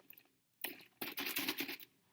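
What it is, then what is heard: Container of thin, fast-moving rubbing alcohol. A clear container of thin, fast-moving rubbing alcohol is shaken, giving quick, bright sloshing with no low-end weight. A short burst comes first, then a longer run of rapid splashing pulses, showing how fast the liquid moves compared with slow, thick honey and olive oil.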